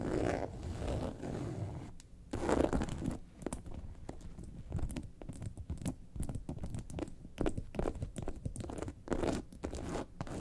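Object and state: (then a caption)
Faux leather bag. A yellow and white faux leather bag lying on a table is scratched across its top and sides with long nails. The sound is a dense run of dry, crinkly scratching and rubbing, mostly low and soft, with brief brighter strokes standing out.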